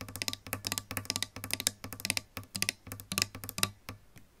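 Long pink nails rapidly tap the pickups, plastic pickguard and lacquered wood top of a solid-body electric guitar with metal hardware, about 25 quick taps in irregular bursts. Each tap is a bright, dry click that dies away almost instantly, over a faint low hum.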